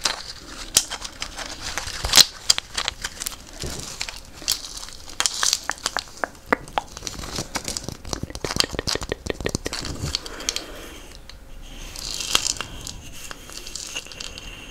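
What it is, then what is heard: Gourd shaker with beaded net. A hollow dried gourd in a beaded string net, held close, is scraped with a wooden stick along its surface and beads. It makes dense, bright, crinkly rattling with many quick dry clicks and little low end. The scraping eases to a softer hiss around the eleventh second, then swells again briefly.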